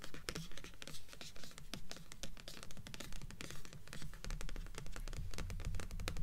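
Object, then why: Stack of paperback books with cardstock covers. Long fingernails continuously tap and scratch the top cardstock cover of a stack of blue paperback books resting on a table, the stack forming a solid paper block. Quick, dry, bright clicks come in a fast, fairly steady patter, mixed with papery scratching and sitting over a soft low rumble.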